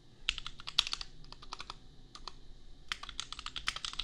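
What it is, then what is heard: Mechanical keyboard with plastic keycaps. A compact $250 custom mechanical keyboard with Gateron Milky Yellow switches and red/pink plastic keycaps is typed on quickly with the fingertips of both hands. It produces a rapid run of short, bright clacks with almost no ring. A brief lull in the middle is followed by another dense burst of keystrokes.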